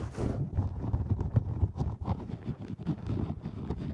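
Black padded fabric and faux-fur earmuffs fitted over the ears of a 3Dio microphone have their headband scratched and rubbed quickly with long nails and fingertips. The result is a dense, muffled, low rumbling rustle with rapid, irregular soft thumps and scrapes and almost no bright content.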